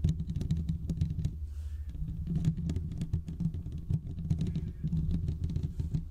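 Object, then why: Metal mesh microphone grille. Fingertips of both hands scratch the hollow metal mesh grille of a large condenser microphone. The result is a dense run of quick, close, muffled scrapes and taps with a deep, boomy low end and a short lull partway through.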